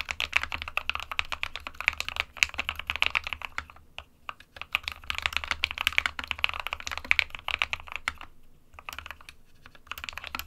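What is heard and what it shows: Fingertips of both hands type continuously on an SK61, a small 60% mechanical keyboard with a plastic case and plastic keycaps, hollow with switches inside. Dense, bright, clacky keystrokes with almost no ring and little low end run in quick bursts, with brief pauses around four and eight and a half seconds.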